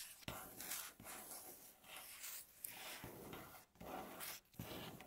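Long natural fingernails slowly scratch and rub across a solid, light wooden tabletop. The result is quiet, bright, raspy strokes with an airy hiss, each stroke swelling and fading with little low end.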